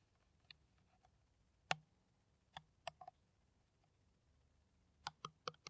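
Long nails tap a clear, hollow, empty PET plastic water bottle with a white cap, held in the hands. Sharp, dry clicks come in scattered bursts with quiet gaps between them, some landing in quick pairs.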